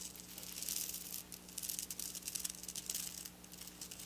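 Long black nails slowly scratch and trace over silver sequin fabric lying on a table. The result is a quiet, bright rattling and crinkling, with uneven bursts of crisp scratches rising and falling over a faint steady low hum.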